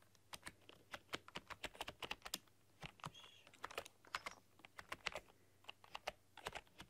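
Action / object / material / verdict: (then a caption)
tap / plastic computer keyboard / plastic / none. Fingertips and long painted nails type rapidly on a full-size black plastic computer keyboard with rainbow LED backlighting. The result is a quiet, uneven stream of sharp, bright plastic key clicks that stop almost instantly, with little low end.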